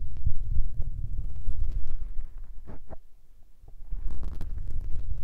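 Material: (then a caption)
Foam. Fingertips and nails rub and tap the small grey foam windscreens covering the capsules of a Tascam recorder's mics. The result is a dense, boomy low rumble of muffled thumps and scratchy brushing. Midway it drops to a quieter stretch with a few soft scrapes, then the rubbing and tapping resume.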